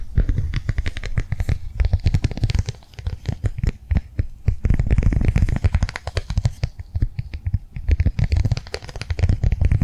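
Long nails tap rapidly on a flat, blue, rectangular plastic cardholder held upright in the hands. The result is a steady stream of short, dry, muffled clicks with heavy low-end thump and very little brightness, swelling and easing in loudness throughout.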